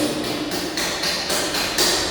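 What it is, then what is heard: Hollow motorcycle swingarm. Knocks on the hollow metal swingarm of a BMW F800GS motorcycle give bright, hollow taps with a short metallic ring and a high overtone. The hollow structure resonates and can carry noise, which is normal for this bike.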